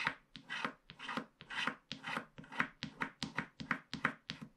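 A wooden stylus scratches the border strip of a flat paper scratch-art card with a black coating in short strokes. Each stroke makes a dry, bright rasping scrape that stops quickly. The strokes come in a steady, quick rhythm with brief gaps between them.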